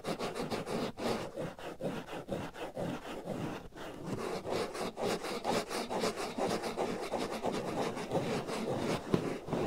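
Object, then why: Foam microphone windscreen. Fingernails scratch and rub a black foam windscreen fitted over the right ear of a binaural microphone, producing a steady, dense run of rough scraping strokes. The strokes repeat at a quick, uneven pace with a muffled, mid-heavy texture and little bright content, ending in a slightly sharper scrape near the close.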